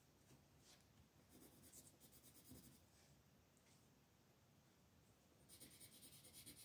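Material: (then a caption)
Paper. A green wooden colored pencil rubs and scratches across a flat, thin paper mandala coloring sheet on a table while coloring leaf shapes. Soft, quiet scratchy strokes come in short bright bursts of hiss with a low rustle underneath. The strokes turn louder and steadier for the last second or so.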